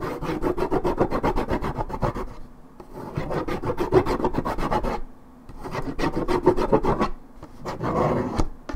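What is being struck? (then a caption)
Coated paperboard juice carton. Long red nails scratch and rasp the top and edge of a hollow Minute Maid orange juice carton made of coated paperboard. The sound is a rapid, dry, rubbing rasp of dense strokes in three bursts, each separated by a brief quiet pause, with most of the body in the low-mid range.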